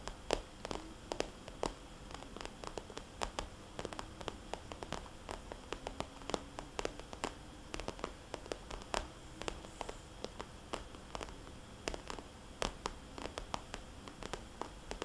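Fingernails on both hands tap rapidly over a small red polka-dot glossy plastic cosmetics bag lying flat as a hollow pouch. The result is a quiet, steady stream of sharp, bright clicks in irregular clusters, each dying away almost instantly over a faint low hum.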